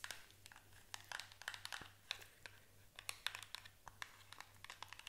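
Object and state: Small cardboard box.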